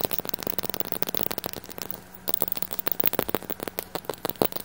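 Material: Glass.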